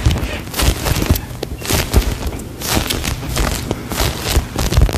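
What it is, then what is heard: Foam ice cream cone squishy. A hand-sized, solid soft polyurethane foam ice cream cone toy is squeezed and scratched with long nails close to a microphone. Bursts of bright, crackly scratching mix with soft, deep squishing thumps in an uneven, continuous stream.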